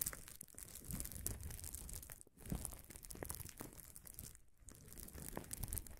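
A large, air-filled sheet of gold-tinted plastic bubble wrap lies flat on a table while fingertips and nails scratch and rub across its surface around a field recorder resting on the sheet. The result is a steady, dense crinkling and crackling with soft low rumble underneath, bright scratchy texture above, and two brief near-silent gaps.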